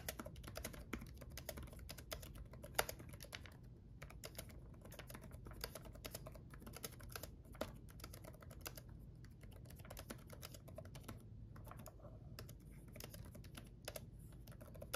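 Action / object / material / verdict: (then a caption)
tap / plastic laptop keyboard keys / plastic / none. Both hands type with their fingertips on a black gaming laptop keyboard with red backlit plastic keys. The result is a steady, quiet stream of short, dry clicks and taps with a low, dull body and a faint bright edge, plus a few slightly louder keystrokes scattered throughout.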